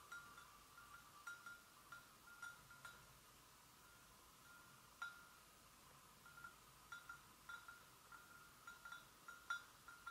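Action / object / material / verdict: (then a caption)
tap / porcelain gravy boat / porcelain / none. Long nails gently tap the sides of a hollow, empty white porcelain gravy boat, giving about 11 quiet, light clinks spread unevenly across the clip with a pause in the middle. Each tap gives a brief, chime-like ring with a clear tone around 1.4 kHz and a faint bright edge that fades almost at once.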